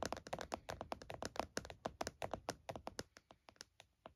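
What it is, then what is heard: Plastic laptop case being tapped. Fingertips and nails of both hands tap rapidly on the lid of a closed laptop in a purple plastic hard case lying flat. A quick, uneven run of short, dry clicks and knocks with a hollow mid-range tone, each dying away almost instantly, with light bright edges.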